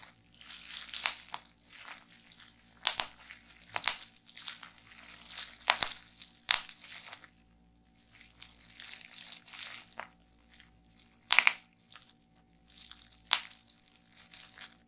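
A wad of clear plastic bubble wrap, held in both hands above a table, is crushed and popped by fingers with long painted nails. Bright, crinkling crunches are broken up by sharp, short pops scattered across the clip, with quiet rustling in between.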